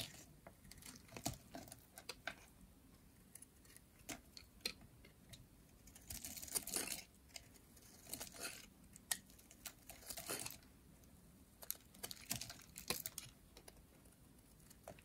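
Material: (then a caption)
Soap. A hand-sized, light blue bar of dry soap with a ridged edge is held in one hand, with long painted nails, and shaved into curls by a metal utility blade held in the other. Quiet, bright, dry clicks and crisp snaps are scattered throughout. They are broken up by a few longer, hissy scraping strokes as the blade drags through the soap.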